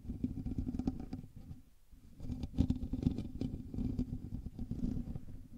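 Fingertips and nails of both hands scratch the hollow metal mesh grille of a black USB microphone, producing a dense, rumbling scratch with a strong low-end thump. The scratching quiets briefly in the middle before resuming in fast, uneven bursts.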